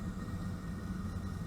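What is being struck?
Nothing is struck.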